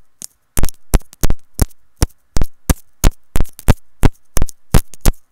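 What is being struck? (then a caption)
Plastic earphone inline remote. A white plastic earphone inline remote and mic on a looped cable is tapped with long nails. Sharp, close clicks come in an irregular rhythm, each a brief broadband crack with a deep, heavy low end and a quick decay into faint hum.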